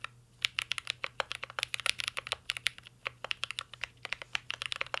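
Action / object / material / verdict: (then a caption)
tap / mechanical keyboard with metal case and plastic keycaps / plastic, metal / none. A full-size mint-green Cyberboard R3 mechanical keyboard with a metal case, plastic keycaps and Holy Panda switches sits on a desk while two hands type steadily with their fingertips. Quick, bright clacks follow one another with almost no ring, over a faint low hum.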